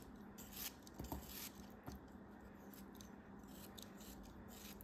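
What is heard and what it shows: A small solid block of beige kinetic sand, held in fingers with long red nails, is sliced and scraped with a craft knife blade as crumbs fall off. Soft, gritty scraping runs throughout at a low level, broken by a few brief, crisp crunches as the blade cuts through.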